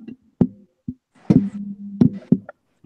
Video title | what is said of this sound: Beatppl Podcast episode 38 part 2 | the buttons have springs underneath of them and the case is so hollow